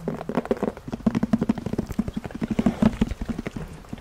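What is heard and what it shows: Long nails tap and scratch on the surface of a black, handheld-size, hollow, semi-hard zippered carrying case made of faux leather. A quick, irregular run of about two dozen short, dull, hollow taps with a low-mid body is heard, mixed with soft scratching. Each tap dies away almost instantly.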